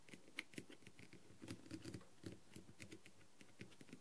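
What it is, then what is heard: Plastic rhinestone-covered mask. A green tool with a clear plastic tip taps and scratches the rhinestones on a blue plastic rhinestone-covered masquerade mask with gold trim. The result is a quiet, irregular stream of short, dry clicks and light scratches, with bright ticks over a low, soft rustle.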